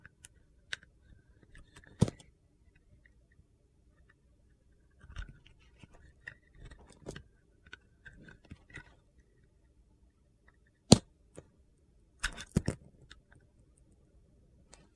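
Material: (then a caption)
Soap. A solid Ivory soap bar with a gold glitter coating, now mostly white, is carved and scraped with a utility knife blade, peeling off thin curls. Quiet crisp scraping and shaving sounds come in bursts, with a few sharp louder clicks standing out. The cuts produce a dry, crunchy texture over a low background.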